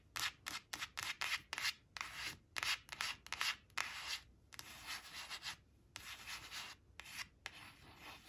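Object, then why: Laminated cardboard flash card. Long acrylic nails rub and scratch across the glossy face of a thin, flat laminated cardstock flash card reading "8 eight" as it rests on a woven cloth, and the card shifts slightly. The sound is a series of quick, bright, hissy scratching strokes, clipped and close together at first, then longer and smoother rubbing passes.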